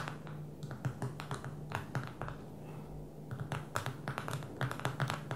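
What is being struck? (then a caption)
Smartphone with glass touchscreen. Long fingernails from both hands tap on the glass touchscreen of a small black smartphone lying flat on a table. The result is a quick, irregular run of short, dry clicks over a steady low hum.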